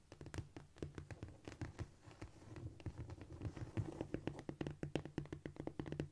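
Long, shiny almond-shaped nails on both hands tap and scratch quickly across a flat, solid cork floor. The result is a steady stream of short, dry clicks and soft scratching that die away almost instantly, with a low, muffled undertone.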